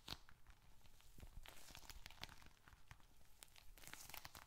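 A small, dark red leather bifold wallet, hollow and holding bills and receipts, is squeezed, scratched and tapped with bare fingertips and short nails. Quiet, dense crinkling and tearing-like rustles from the paper inside mix with soft, quick taps and bright scratchy flicks. The sound stays close and steady throughout.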